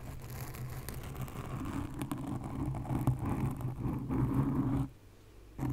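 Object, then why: Foam microphone windscreen. Long nails scratch the top and sides of a black foam windscreen on a condenser microphone, producing a dense, low, rumbling scratch with a steady hum-like tone. The scratching continues evenly, then drops to near silence just before the end and briefly resumes.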